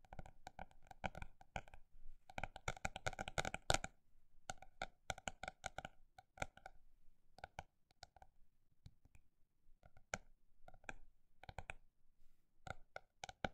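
A paper notebook is tapped with quick, short, dry taps that have a mid-pitched knock and bright edges. The tapping builds into a dense, rapid flurry around two to four seconds, then continues at a slower, scattered pace with brief pauses.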